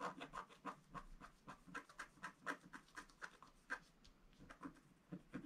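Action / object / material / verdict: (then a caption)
scrape / wax-coated scratch art paper scratched with a wooden stylus / waxed paper / none. A pointed wooden stylus is scratched repeatedly across a flat black sheet of wax-coated scratch art paper. The result is a quiet, quick, uneven series of short, dry scrapes. Each has a brief papery hiss centred in the midrange and no ring.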